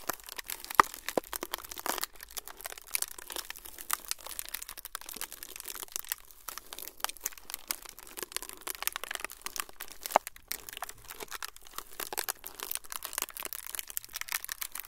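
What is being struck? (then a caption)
Thin frosted plastic sheet. A thin, flexible, semi-translucent frosted plastic sheet is crinkled and folded by fingertips. The result is a dense, continuous stream of quiet, bright crinkles and small crackles across the whole clip, with a few sharper snaps standing out.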